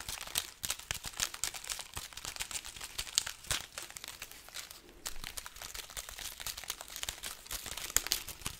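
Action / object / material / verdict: scrape / strand of dried red chili peppers / dried pepper / none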